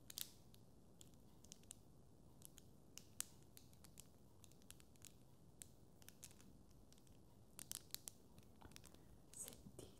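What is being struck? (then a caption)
Plastic tangle fidget toy. A small blue and yellow hollow plastic tangle fidget toy, made of linked curved segments, is held in both hands and twisted with the fingertips. Its segments click and rub against each other. The result is a quiet run of sharp, bright clicks and brief scratchy rubs over a low, steady background hiss.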